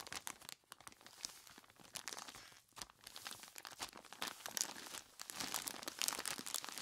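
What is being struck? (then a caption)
Plastic bag full of ice cubes. A large clear plastic bag full of ice cubes is gripped and squeezed by hands in skeleton-claw gloves. The result is a dense, continuous stream of bright crinkling and crunching, with quick sharp crackles that stop almost instantly and little low end. The squeezing comes in uneven bursts with brief quieter pauses, growing busier toward the end.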